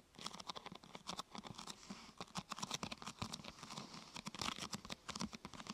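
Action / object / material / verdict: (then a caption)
tap / thin plastic sheet curved into a half-tube / plastic / none. A thin, glossy purple plastic sheet, curved into a hollow half-tube over a binaural microphone, is tapped and scratched with long painted nails. The result is a quiet, rapid stream of short, dry, bright clicks and crinkly scratching with very little ring.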